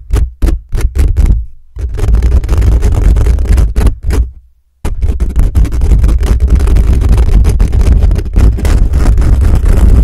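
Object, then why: Metal mesh microphone grille. Fingertips and nails of both hands quickly scratch and tap the hollow, dome-shaped metal mesh grille of a black USB condenser microphone on a stand. A burst of separate fast taps gives way to dense scratching, broken by a brief silence near the middle before the continuous scraping resumes. The contact comes through as a heavy, booming low rumble with very little high end.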